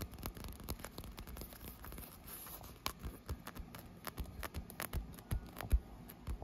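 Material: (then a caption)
PVC vinyl. Fingertips and long white-painted nails tap and scratch a large blue textured PVC vinyl surface, likely the air-filled wall of an inflatable pool. Dense, soft, low thuds and dull taps land in quick uneven bursts, with faint scratchy rustle between them and almost no ring.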